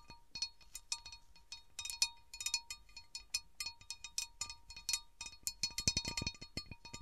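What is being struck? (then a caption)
Cut glass serving platter. Long nails tap quickly along the outer rim edges of a large, round, empty, divided cut glass serving platter. The result is a rapid string of short, bright clicks and clinks with a high glassy ring that dies away almost at once, over a faint steady tone.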